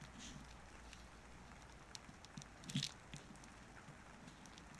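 A small wooden-handled carving knife carves and scrapes a solid orange-tan bar of soap held on paper. Quiet, soft scraping is heard with faint crackly ticks and brief bright flicks, with a slightly louder scrape near the end.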